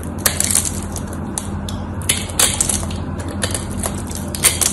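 A small metal blade carves and scrapes a solid, cream-white rectangular bar of dried soap held in one hand, its surface scored and cracked. Dense, bright crunchy crackles and scraping bursts come as crunchy flakes chip off, some louder than others. A steady low hum runs underneath throughout.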